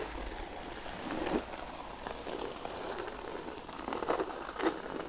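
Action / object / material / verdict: scrape / thin cork sheet / cork / none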